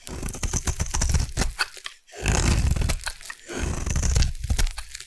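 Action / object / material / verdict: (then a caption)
scrape / solid bar of soap cut with a metal blade / soap / none. A metal blade carves a solid pink bar of soap, making dense, crunchy shaving sounds. The scraping comes in bursts of close, dry crackles with a heavy low thud-like body and some bright crispness on top. There is a short silent pause about two seconds in before the carving resumes.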